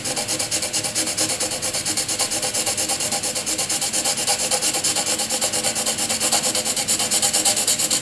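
A graphite pencil rapidly shades a solid grey area on a sheet of white paper with fast back-and-forth strokes. The result is a steady, rhythmic, bright scratchy rubbing that pulses with each stroke and carries almost no low end throughout.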